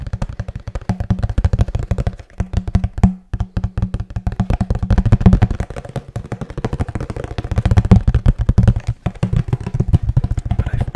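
A medium, flat, brown corrugated cardboard box, hollow and held in the hands, is tapped and scratched with the fingertips and nails close to the microphone. Rapid, uneven runs of soft, hollow, low thuds with very short decay blend with dry scratching. The sound stays deep and muffled throughout, with almost no high content.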